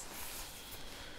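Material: Nothing is struck.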